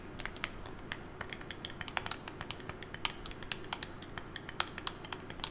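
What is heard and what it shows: A hand-held smartphone with a glass screen, in a hard case, is tapped with long nails and fingertips in a quick, typing-like pattern. It gives a rapid, uneven stream of sharp, bright clicks that die away almost at once, over a low steady hum. The phone sounds solid.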